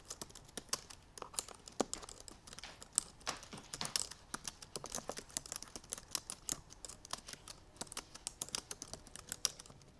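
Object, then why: Laptop keyboard with plastic keys. Both hands with long painted nails type rapidly on the black plastic keys of a silver aluminum MacBook Pro. The result is a fast, steady stream of short, bright, crisp clicks with almost no low end and no lingering ring, at a fairly quiet level.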